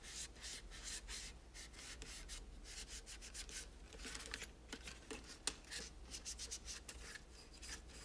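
A microfiber cloth rubs and wipes along the parts of a pastel, hollow molded plastic toy tower with a spiral ramp. The result is a steady run of soft, bright swishing strokes over a faint low hum, with a sharper brief scrape standing out midway.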